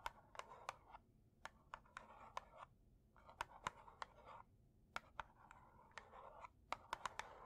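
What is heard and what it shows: A closed, full red cardboard matchbox is tapped with long nails on its front label, then tilted to show the striker strip side. About 19 sharp, dry clicking taps come in irregular clusters, with soft scratchy rustling between them. The sound is quiet and centered in the midrange, with very short decays.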